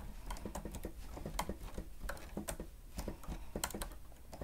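Fingertips and nails of both hands rapidly press the keys of a grey plastic stenotype machine with a screen. The result is a quick, irregular run of short, dry plastic clicks and taps with bright edges, over a steady low hum.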